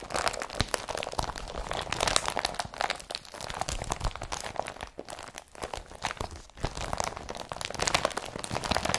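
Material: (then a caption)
Polypropylene. An empty blue IKEA BRATTBY carrier bag of woven polypropylene plastic is rubbed and crumpled between the fingers. It makes a steady, dense crinkling and crunching across the whole clip, with many sharp, bright crackles that stop almost at once.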